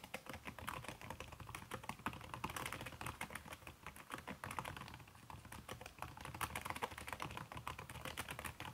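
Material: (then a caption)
Silicone. Fast typing with fingertips and long red-painted nails on a backlit aluminium laptop keyboard whose plastic keys are covered by a red silicone skin. A dense, steady stream of soft, slightly muffled clicks and taps runs for about nine seconds, with brighter clacks scattered throughout.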